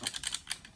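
A Glock 35 gas airsoft pistol with an aluminium slide and aluminium barrel is shaken, and the barrel moves up and down inside the slide. This makes five quick, bright metallic clicks with almost no low end and no ring-out. The rattle is normal for this pistol.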